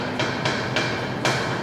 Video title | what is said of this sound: Eleiko Powerlifting Training Station | the floor is not level